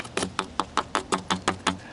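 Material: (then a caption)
ABS plastic. Nine quick, even taps on the duct-taped end of a buried 2-inch ABS plastic pipe sleeve give short, dry, hollow knocks centered around 1.2 kHz that die away almost at once. The hollow tone shows the sleeve is empty with no dirt inside, which was borne out when landscape wire was fished through the pipe.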